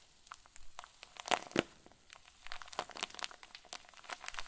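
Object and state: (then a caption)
Plastic zip bag filled with fluffy filling. A clear plastic zip bag full of white fluffy filling is twisted and squeezed tightly in both fists. Irregular bright crinkles and crackles come in quick bursts, with two sharper, louder crackles early on.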